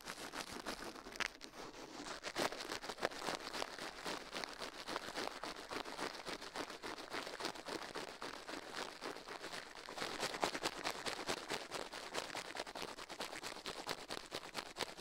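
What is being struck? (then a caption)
Silicone ear on a microphone, brushed with toothbrush bristles. Toothbrush bristles brush fast across the soft silicone left ear of a binaural microphone mounted on a metal mic plate, while the other gloved hand rests still. The result is a steady, dense, scratchy brushing that stays bright and airy with almost no low end throughout.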